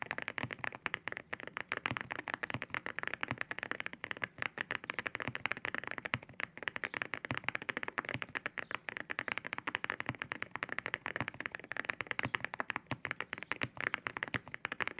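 Two hands type with their fingertips on a white 65% mechanical keyboard fitted with white ceramic keycaps, with loose keycaps resting untouched on the desk nearby. A steady, rapid stream of short, crisp, bright clacks rings out, centered around 1.9 kHz with very little low end. Each keystroke dies away almost instantly.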